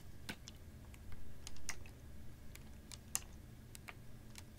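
A capped, clear ribbed PET water bottle, about half full of water, is tilted and tapped with fingernails. Short, sharp, bright ticks come at an uneven pace over a steady low background hum, with a soft, slightly louder swell in between.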